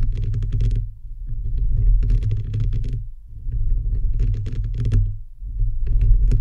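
Fingertips and nails of both hands rapidly tap and scratch a bare, hollow microphone head with a perforated metal mesh grille. The sound is a dense, deep, booming rumble with bursts of bright crackly clicks arriving in waves, separated by brief softer dips.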